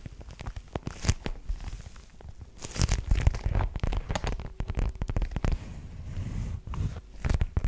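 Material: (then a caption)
Faux leather. A black faux leather zip-around wallet with a metal zipper pull, soft and hollow, is held close to the microphone and tapped and scratched with long nails. Dense, quick, crinkly taps and scratches come through with a heavy low thump and short, dry decay. Occasional bright clicks and rasps cut through.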